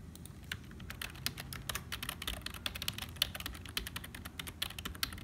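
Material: Plastic.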